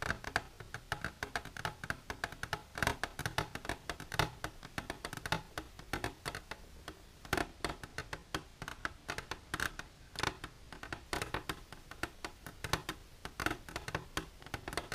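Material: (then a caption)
Plastic. Long silver nails tap rapidly and continuously on the sides of an empty clear plastic container standing on end on a blue table. Each tap is a short, dry, hollow click with a bright plastic tone near 1.6 kHz that dies away almost instantly. The sharp clicks come in quick, uneven bursts throughout.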